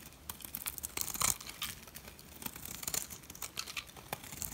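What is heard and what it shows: A metal blade shaves curls off the face of a solid white Dalan dry soap bar, making a run of dry, crisp scraping and crackling strokes. The sound is bright and papery, with short crunchy bursts and no ring after each stroke.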